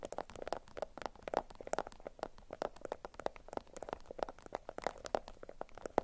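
A bundle of yellow beeswax-coated cotton food wrap is scratched with long nails on a mat, then lifted and squeezed until it crinkles. Dense, rapid crackles and scratchy bursts come one after another, centered in the mid range with brief bright edges, and each dies almost instantly.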